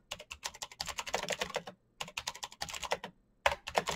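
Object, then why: Plastic mechanical keyboard. Fingertips type rapidly on a black plastic mechanical keyboard, producing quick, bright, crisp clicks with very short decay. The taps come in fast bursts separated by two brief pauses.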